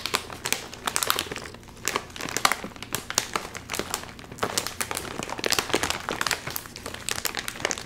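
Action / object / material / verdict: scrape / metallized plastic film chip bag / plastic film / none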